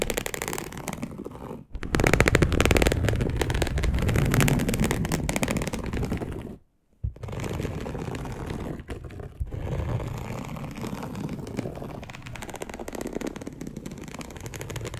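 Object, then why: Polyester mesh fabric sheet. Long acrylic nails scratch a dark polyester mesh fabric bed sheet in a continuous run of quick, rough rasps, deep and heavy in the low end with little brightness. The scratching breaks off in brief gaps near 2 and 7 seconds, then resumes at a steady, slightly lighter pace.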